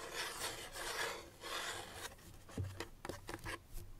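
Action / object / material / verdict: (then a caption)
scrape / small paperboard box / cardboard / none. Fingertips and nails rub and scratch along the surface of a small, hollow white paperboard box held in the hands. The first two seconds are soft, swelling broadband rubbing; the second half turns to four sharper, brighter scratches with a faint low thump from the hollow box.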